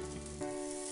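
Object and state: Nothing is struck.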